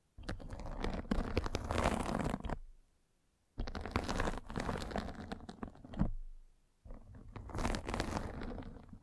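A metal-spiked derma roller is rolled steadily across the top of a white fabric mesh net covering a round microphone head, scratching it. The sound is a dense, crackling, scratchy rasp with a heavy low rumble, coming in three long passes separated by short silent pauses.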